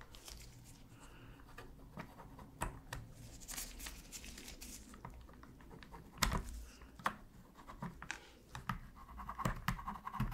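A thin metal pick scratches along the seams near the D-pad of a black hollow plastic PS3 controller. Soft, dry scraping and light patter sit over a steady low hum, broken by sharp, bright ticks that grow louder and more frequent in the second half.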